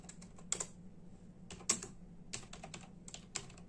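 A full-size black and silver plastic membrane keyboard with hollow keys is typed on with the bare fingertips of both hands in a steady tapping. Short, bright, hollow plastic clicks come in quick bursts with a few louder strokes, each dying away almost instantly. A faint low hum sits underneath.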